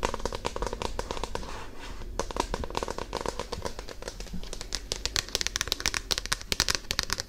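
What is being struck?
Paperback book with glossy card cover.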